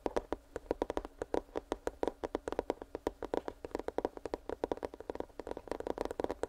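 A small, hollow, printed cardboard headphones product box is held near the microphone and tapped quickly with fingertips and nails. Around forty short, dry, hollow taps are heard, each dying away almost instantly, with a mid-range knocking tone.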